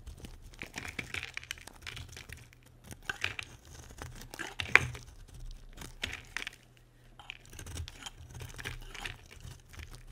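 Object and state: Dry bar soap being carved.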